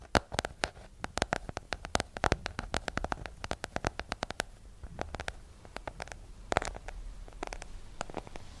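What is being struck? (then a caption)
Hardcover book. A small, solid hardcover book with a yellow cover is held in both hands and tapped with long nails. The result is a quick, irregular run of sharp, dry clicks that reach up bright and stop almost instantly, with quieter taps in between over a faint low rumble.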